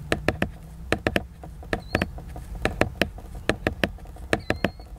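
Fingertips tap the glossy laminated cover of a large picture book, giving eighteen quick, dry knocks in clusters of about three, each dying away almost at once. Faint high squeaks and a soft low rumble sit beneath the taps.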